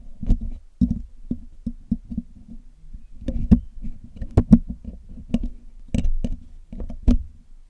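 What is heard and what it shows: A metal needle pick and metal tweezers scratch and poke at the hollow black metal mesh grille of a Blue Yeti microphone during cleaning. The result is an irregular series of short, dull, low taps and scrapes that die away almost instantly, with occasional brief bright clicks on top.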